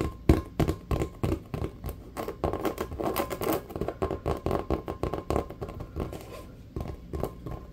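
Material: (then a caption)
Rubber. A full-size, hollow, inflated rubber basketball with a checkered pattern is held in both hands and tapped fast with the fingertips. The result is a rapid, uneven patter of short, dull, low thumps that die away almost at once, with a faint steady tone underneath.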